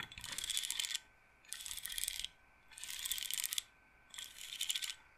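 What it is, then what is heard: Wooden bead roller massager. Long nails scratch and roll the rows of wooden beads on a wooden-framed bead roller massager. The result is four bursts of dense, bright clicking and rattling, each lasting about a second, separated by short pauses.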